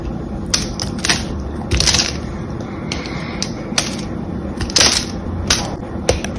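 A solid, cream-colored glycerin soap bar, held in one hand, is carved with a small blade while fingers break pieces off it. Sharp, bright crunching snaps and clicks burst out over a steady low background hiss, with each crack dying away quickly.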